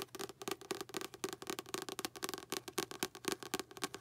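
Long pink acrylic nails tap rapidly and unevenly on the paper back cover of a light blue paperback book printed with a goldfish bowl image. The quiet, dry taps have a hollow mid-range thud with bright clicky tips and die away almost instantly.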